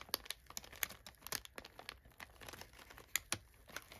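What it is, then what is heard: Crumpled kraft packing paper. Fingers press down on and rub crumpled brown kraft packing paper filling an open box. A quiet stream of dry crinkles is broken by sharp, bright crackles with almost no low end, each snapping off instantly.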